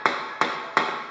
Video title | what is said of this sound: How to fix drummy tiles (and what causes them) | when I tap over here that the tile sounds quite solid